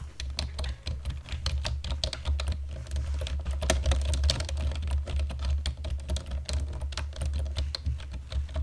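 Fingertips and nails tap rapidly across the keys of a black plastic computer keyboard, producing a continuous run of short, crisp clicks with bright edges. A steady low hum sits underneath the typing throughout.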